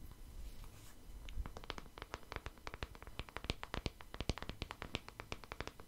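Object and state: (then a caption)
Plastic hairbrush. A hand-sized black paddle hairbrush with a hollow-looking plastic back and bristles is held in the hand and tapped and scratched with the fingertips and nails close to the microphone. The clip opens with a soft, breathy scratching. Quick, dry clicking taps follow in an irregular rhythm, each one short and bright with almost no ring.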